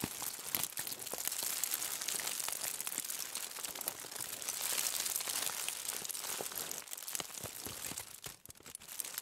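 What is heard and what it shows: A crumpled bundle of aluminium foil lying on a table is scratched with the long nails of both hands. The result is a dense, continuous bright crinkling and crackling with rapid irregular clicks and almost no low end. It dips briefly quieter near the end before picking up again.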